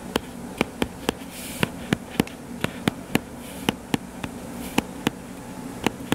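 Fingertips and short nails tap rapidly on the cover of a purple-covered paperback book lying flat on a table, a solid stack of paper. Eighteen short, dry taps with no ring sound over a faint steady low hum.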